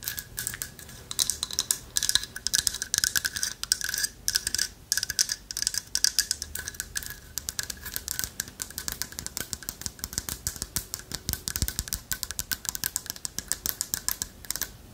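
Long fingernails tap rapidly on a carved owl figurine of light wood held in both hands. The result is a dense, uneven stream of crisp, dry clicks that are mostly high and bright, with very little low end, and each tap dies away almost instantly.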